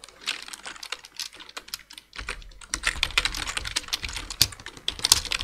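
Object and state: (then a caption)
Plastic computer keyboard. Two hands type with their fingertips on a black plastic full-size computer keyboard, producing a rapid, uneven run of short, dry, bright key taps that stop almost instantly. A faint low rumble sits underneath from about two seconds in, and the typing grows denser and slightly louder toward the end.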